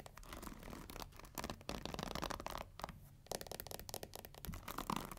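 Long nails scratch the black pins and plastic handle of a pink plastic paddle hair brush. Dense, rapid scratching and clicking rattles with a bright crackle, briefly thinning out before picking back up.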